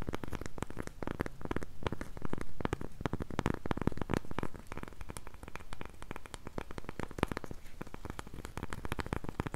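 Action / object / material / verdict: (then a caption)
scrape / round flat cork coaster / cork / none. Long pink nails rapidly scratch and tap the surface of a round, flat, solid cork coaster held in both hands. The result is a dense, dry patter of soft crackling taps and scraping, heavy in the low end, with no ringing.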